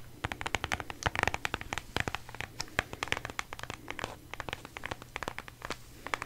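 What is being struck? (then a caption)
Cardboard palette box. Long manicured nails tap and scratch a flat, rectangular cardboard eyeshadow palette with a white marble print, held in the hand. Dozens of quick, crisp clicks and scrapes follow one another in an uneven rhythm over a faint, steady low hum.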